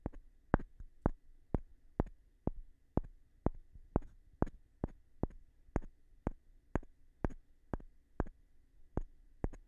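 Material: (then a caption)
Wood. A small rough stone held between the fingers taps the face of a light-colored, palm-sized solid wooden block. Twenty short, dry clicks come about twice a second at a loose, uneven pace, each with a brief low knock under a bright tick that dies away almost at once against near-silence.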